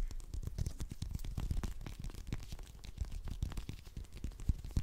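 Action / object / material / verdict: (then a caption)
scrape / whole orange, peel scratched by fingernails / orange peel / none. Fingernails quickly scratch and pick at the peel of a whole small orange, a solid fruit held in both hands. The result is a steady, rapid patter of soft, dry scratchy clicks with a dull, close low thump under each pick and only faint brightness.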